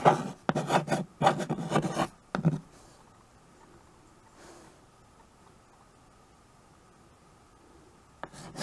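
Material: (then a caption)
Chalk, slate. White chalk held in the fingers scratches across a small handheld chalkboard with a wooden frame, making a rapid series of dry, raspy writing strokes over the first two and a half seconds. A long near-silent pause follows before a few more short scrapes at the end.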